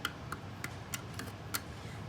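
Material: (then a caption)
Borax. A spoon taps six times at the bottom of a glass jar of cloudy borax and water, stirred until no more will dissolve. Each tap is a light, crunchy tick from the undissolved grains, showing the solution is super saturated.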